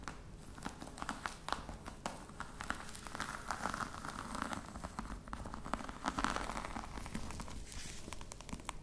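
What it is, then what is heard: Faux crocodile leather box. Long red nails tap and scratch across the top of a flat, hollow black box covered in embossed faux-crocodile leather while hands hold its sides. The result is a steady stream of quick, dry clicks and crinkly scratching over a low, hollow body tone. The activity swells slightly toward the middle of the clip.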